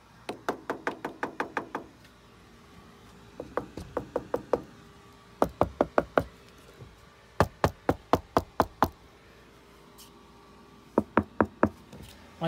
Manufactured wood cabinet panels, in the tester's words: rap on some of this wood so you can hear how solid the stuff is